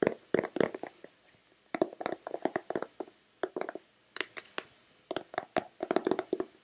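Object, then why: Plastic lotion bottle. Long red-painted nails tap and knock on a hand-sized, hollow white plastic Nivea lotion bottle. About thirty quick, dry, hollow clicks fall in uneven bursts, centered around 400 Hz with brief bright edges. Each tap dies away almost instantly, leaving short quiet pauses between the clusters.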